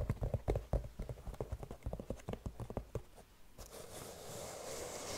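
Long nails rapidly tap on a single gold sequin-covered slip-on sneaker with a white rubber sole, hollow and empty, making a quick, uneven run of dull, thumpy clicks for about three and a half seconds. The tapping then gives way to a steady, bright scratching rustle as the nails drag across the sequins.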